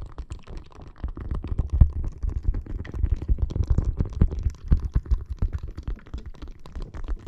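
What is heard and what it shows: A clear plastic bag full of red gel water beads rests on a microphone and is scratched and tapped with long nails. The result is a dense, continuous run of soft, squishy low thumps and rustles, deep and muffled with almost no bright content.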